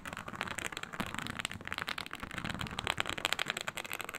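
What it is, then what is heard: Faux snakeskin leather sheet scratched by nails. Long nails scratch across a flat, iridescent snakeskin-textured faux leather sheet, a snake-scale synthetic leather mat. The result is a dense, continuous run of quick, crackly scrapes and clicks, mostly bright and high in tone with very little low end, each stroke dying away almost instantly.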